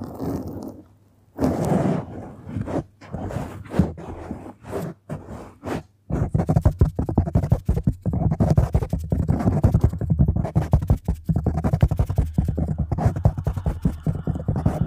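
Long acrylic nails and fingertips scratch and rub a soft, porous black foam windscreen over a microphone, producing a deep, muffled, rumbling scrape with almost no high end. The first six seconds bring separate swipes with short silent gaps, then the scratching turns into a dense, fast, continuous crackling rub.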